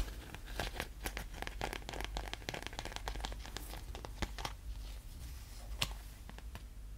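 Fingertips and short nails tap, scratch and crinkle a small, thin, clear, flexible plastic sleeve or bag, folded and held close in both hands. The result is a dense run of sharp, bright crinkles and quick clicks over a steady low background rumble, with a few louder snaps standing out near the middle and the end.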